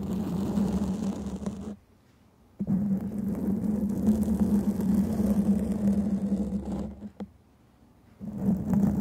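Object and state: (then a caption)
Foam microphone windscreen being scratched. Long painted fingernails scratch and tap a black foam microphone windscreen, making dense, close, muffled rustling with a steady low hum-like tone. The scratching drops to silence twice, and a sharp tap marks the return after the first gap before the scratching resumes and fades out briefly again.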